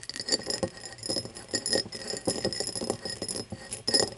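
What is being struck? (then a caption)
Cut crystal tumbler. Long nails tap and scratch the faceted surface of an empty, hollow cut-crystal tumbler, first standing upright and then lying on its side. Quick, bright clicks and ticks mix with rasping scratches. Each hit leaves a brief high glassy ring that fades fast.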